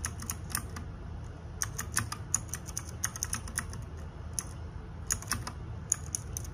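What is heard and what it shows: Fingertips and nails type rapidly on a small RGB-backlit 60% mechanical keyboard with plastic keycaps, producing bursts of sharp, bright clicks with very short decay. Quiet gaps separate the bursts, over a steady low background hum.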